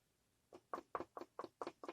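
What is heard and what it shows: Seven quick knuckle knocks on a five-piece stained wooden pumpkin cutout bought at a farmer's market in West Virginia. Each knock is short and dry, centered in the midrange around 1 kHz, with almost no low end and a very fast decay. The hollow knocking confirms the cutout is made of wood.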